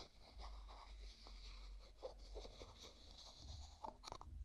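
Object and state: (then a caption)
Plastic jar screw lid being twisted. A small translucent pink plastic jar with a white plastic screw lid is held in one hand while the other hand's fingertips grip the lid and twist it back and forth. The twisting produces soft, crunchy, ridged rubbing sounds with a faint low hum beneath, ending in a few sharper clicks.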